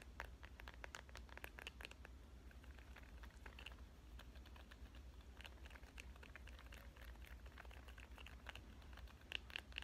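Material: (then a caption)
Plastic. Long nails tap fast and scratch across the back of a smartphone in a clear avocado-print plastic case. Dense, bright, sharp clicks come in quick irregular bursts with scratchy rustling between them, over a steady low hum.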